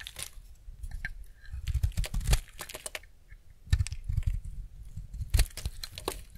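A utility-knife blade scrapes across the surface of a solid rectangular semi-dry white bar of soap held in hand, peeling off curls. Repeated crisp, crunchy scraping strokes come in uneven bursts, each with a dull low thud beneath a bright, crackling edge that stops almost at once.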